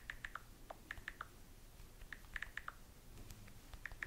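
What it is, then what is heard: Smartphone glass screen tapped with long nails. Long nails type in fast taps on the glass touchscreen of a small, solid handheld smartphone held up in the hand. About fifteen short, dry clicks sit near 1.8 kHz, with a few lower ones, over a faint low background hum. Each tap dies away almost at once.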